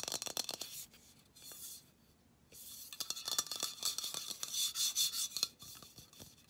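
A hand-sized, hollow, pressurized Dove dry shampoo aerosol can, with an aluminum body and a white plastic cap, is held in one hand and tapped and scratched with the fingernails of the other. The result is quick, irregular, bright ticks and scratchy rubbing, almost all high-pitched, with a brief quiet pause near the two-second mark.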